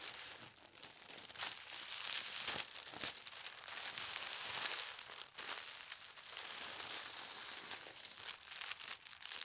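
Flat hands with long red nails smooth and rub a folded, pastel-striped tissue paper sheet lying on a table. A steady, soft crinkling and rustling runs throughout, bright and airy with almost no low end, swelling and easing with each pass of the hands.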